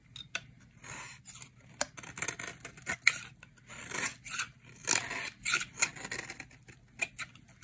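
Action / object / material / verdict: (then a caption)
scrape / bar of soap shaved with a knife blade / soap / none. A utility knife blade shaves curls off a solid, dry cream bar soap held in the hand. Bright, crisp scraping strokes come in uneven bursts, with sharp ticks and snaps as the curls break away.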